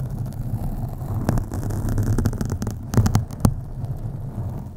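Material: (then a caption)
Foam. Long acrylic nails on both hands scratch slowly across a black foam windscreen on a USB microphone. The result is a steady, deep, muffled rumble with a low hum, broken by a few brief, sharper scrapes that flash up bright.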